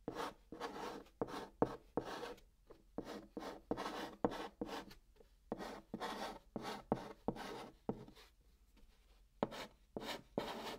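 A hand writes Korean text in white chalk on the hollow top of a brown cardboard box. Steady chalk strokes scratch across the cardboard in short, dry, raspy bursts separated by brief quiet gaps, with a bright hiss and little low end.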